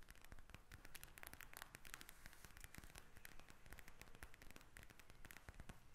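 A pink plastic gel bead eye mask is tapped and scratched with long nails. The result is a quiet, steady stream of rapid, crisp clicks and crackly scratching with a bright edge, each tap dying away almost at once.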